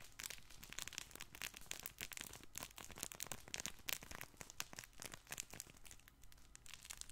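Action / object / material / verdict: scrape / stuffed fabric ball toy / fabric / none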